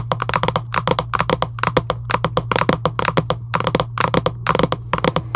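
Long acrylic nails tap and scratch a hollow Giant UNO cardboard game box lying flat, making about thirty quick, dry, hollow taps with a muted papery knock. A steady low hum runs underneath the whole time.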